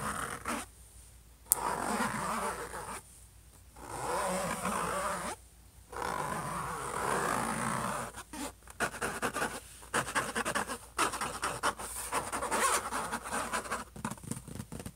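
Short fingernails scratch rapidly across the silver metallic-look lid of a closed HP laptop, a thin hollow shell. Bursts of dry, raspy scratching alternate with brief pauses, later breaking into quicker, choppier strokes with a faint high hiss.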